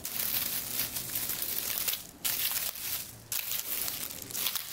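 Fingertips grasp and rub through a large bunch of dried eucalyptus stems with many small, round, papery leaves, producing a dense, bright crinkling and tearing rustle. The rustling runs almost continuously, with two short near-silent pauses before it resumes.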